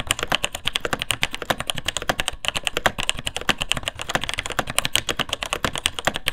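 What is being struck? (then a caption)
Plastic mechanical keyboard. Both hands type continuously with their fingertips on the plastic keycaps of a vintage beige mechanical keyboard with Taiwan Jet switches and a hollow plastic case. A fast, steady stream of sharp, bright switch clacks rings around 3.1 kHz, each with a short hollow knock beneath.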